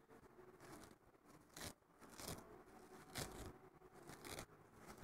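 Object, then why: Nylon scouring pad. Fingertips and short nails scratch and rub the rough surface of a thin, flat green abrasive nylon scouring pad lying on a wooden table. The result is a dry, raspy scraping texture with brief, brighter bursts of hiss as the strokes intensify.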